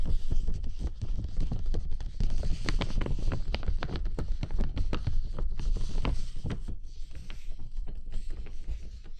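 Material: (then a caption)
Plastic. Bare fingertips tap and rub the outer surface of a large, hollow, transparent plastic bubble umbrella canopy held over the microphone. The result is a fast, irregular patter of soft, dull, boomy thuds with short crisp tick edges, over a steady low rumble and rubbing hiss that eases slightly toward the end.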